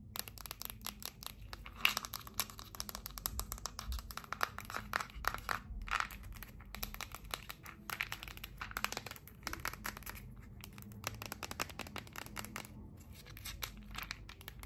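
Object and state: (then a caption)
Plastic pill bottle. Long nails tap and scratch the label and red cap of a small, hollow, red and white plastic medicine bottle (Tylenol 500) held up close. Dense, rapid clicks and crinkly scratches come through bright and dry over a low, steady hum, with a few louder taps standing out.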